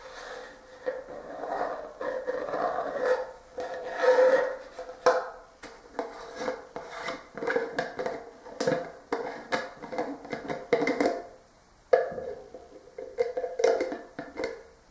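Fingertips and short nails tap, scratch and rub the top of the black plastic screw lid on a hollow, clear plastic Talenti gelato jar, and the hand grips the lid rim. Dry, raspy scratching alternates with sharp taps that give a hollow plastic ring near 500 Hz, with a brief pause before the tapping resumes.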